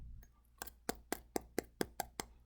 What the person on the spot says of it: when i tap it you can tell that it's solid rock